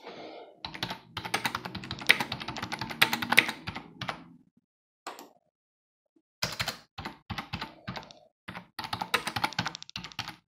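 Fingertips type rapidly on a black plastic computer keyboard with a hollow housing resting on a desk, producing dense bursts of bright, clicky key taps. The typing stops briefly with only a lone tap in the middle, then resumes in quick flurries to the end.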